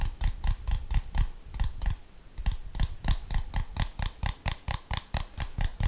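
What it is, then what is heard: Plastic TV remote. A handheld plastic TV remote with rubber buttons is held in one hand while the fingertips of the other hand tap its buttons and casing. This makes a quick, uneven series of short, dry clicks and soft thumps, with a brief lull near the two-second mark before the tapping picks up again.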